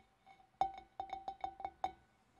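Long dark-painted nails tap on the rim and curved sides of a large, empty, hollow clear glass fish bowl. Eight quick, bright clinks ring with a steady glassy tone near 780 Hz, each fading almost at once.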